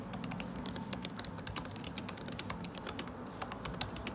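Fingertips type continuously on a MacBook Pro butterfly keyboard with plastic keycaps set in an aluminum body. A steady stream of quick, dry, bright clicks sits over a low background rumble, and each tap dies away almost instantly.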